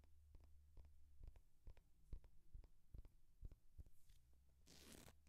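Fingernails tap and scratch on the cover and page edges of a thick hardcover paper textbook, a solid paper block. Quiet, dull, short clicks repeat at an uneven pace over a steady low hum, and a brief bright scratching rush comes near the end.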